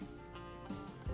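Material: Nothing is struck.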